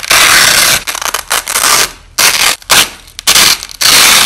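White nylon hook-and-loop tape strips are pulled apart by hand and pressed back together, with the audio slowed down. A series of long, bright, crackling rips comes in bursts separated by short quiet gaps, with almost no low end.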